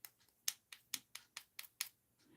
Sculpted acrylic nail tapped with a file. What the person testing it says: If it doesn't make that clicking noise, if it sounds dull and like a thud, then it's not ready.